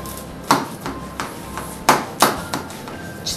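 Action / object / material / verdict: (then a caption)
scrape / baked pastry crust cut with a knife / pastry / crisp. A baked minced-meat water börek (su böreği), just out of a 175-degree oven, is sliced and gives off crackling, crunchy sounds from its crust. Sharp, bright crunches and clicks stand out over a low background hum, with the loudest at about 0.5, 1.9 and 2.2 seconds. The crust sounds baked crisp.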